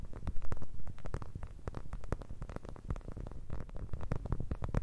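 A clear plastic eye mask filled with blue gel beads is held near the microphones and tapped with long red nails. The result is a rapid, continuous run of soft, low, muffled thuds with short bright clicks that die away quickly.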